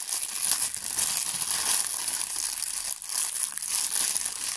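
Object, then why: Thin clear plastic bag. A thin, clear plastic bag is balled up and crushed in the fingers, making a steady, bright crinkling that runs through the whole clip. The crackle is almost entirely high-pitched with no low end, dipping briefly at about three seconds before picking up again.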